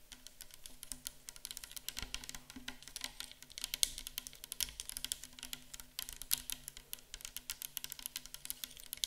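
Long acrylic nails tap and scratch a tall, clear, likely plastic micellar water bottle, mostly full of pale liquid, standing on a table. Rapid, bright, clicky taps and brief scratches come in a dense, steady stream over a faint low hum.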